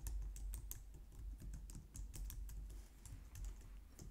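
Long painted nails type quickly on the keys of a compact white plastic computer keyboard. Steady, overlapping bright clicks and taps ride over a constant low rumble for the whole clip.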